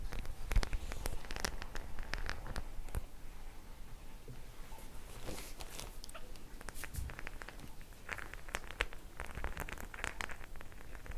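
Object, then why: Faux leather clutch bag with metal studs. Long nails scratch and tap the small metal studs on a white faux leather clutch bag held in both hands. The result is a quiet, steady patter of quick, dry ticks and bright scratchy clicks over a low rumble, with brief louder bursts scattered throughout.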